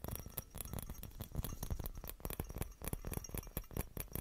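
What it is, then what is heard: Glass Christmas bauble. A small hollow clear glass Christmas bauble with a metal cap is tapped and scratched with fingernails. The result is a quiet, rapid, uneven patter of short dry clicks and scratches with bright ticks over soft low thumps, each dying away almost instantly with no ringing.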